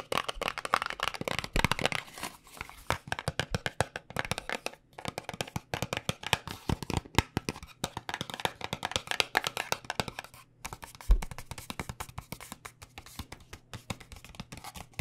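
A small white paperboard cosmetic box is tapped with fingertips, then with long nails on its side. The result is a long run of quick, dry, papery taps and clicks that stop almost at once, with a faint low hum underneath.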